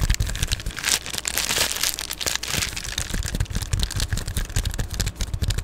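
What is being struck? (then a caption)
Padded plastic bubble mailer. An Amazon Prime padded poly bubble mailer is held close and scratched and tapped with long glittery nails. The sound is a dense run of bright crinkling, scratchy crackle and quick dry taps over a heavy low rumble from the close handling, with no ring after each touch.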